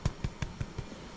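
Five dull, low-pitched thumps with almost no ring come from tapping the bottom of soda bread rolls taken from the top rack. They don't sound quite hollow yet, so the rolls are underbaked and get turned over and put back in for another minute.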